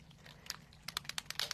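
A plastic Distress Spritz spray bottle of mica ink in the Spiced Marmalade colour is shaken before spraying, giving about nine quick, dry, bright rattling clicks that speed up and stop at once with no ring. The rattle shows the bottle is mixing as it should.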